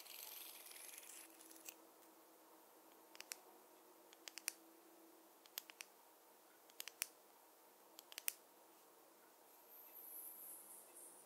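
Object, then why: Wooden fine-tooth comb. A wooden or bamboo fine-tooth comb is tapped, giving a string of sharp, bright clicks in small clusters with almost no ring. Soft, hissy scratching noise opens and closes the quiet clip.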